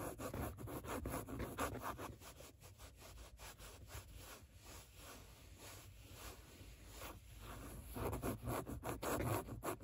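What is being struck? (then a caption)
Padded microsuede fabric seat. Long nails scratch back and forth across a padded grey microsuede-like seat, leaving trace marks in the nap. The result is a steady run of soft, muffled rubbing strokes, fuller at the start and end and quieter in the middle.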